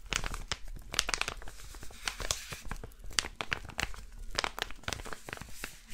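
A flat, blue, crinkly plastic packet, empty or thin, is held in one hand and crinkled and scratched with fingertips and nails. The result is a quiet, steady stream of sharp, bright crackles and crinkly snaps over a soft low rumble, with brief louder bursts scattered throughout.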